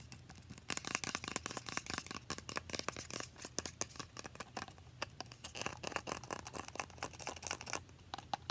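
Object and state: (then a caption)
Plastic spray bottle. Long painted nails rapidly tap and scratch a small translucent plastic Mario Badescu facial spray bottle, partly filled with liquid and held in one hand. The result is a dense, continuous stream of crisp, bright clicks and scratchy rasps with almost no ring, over a faint steady low hum.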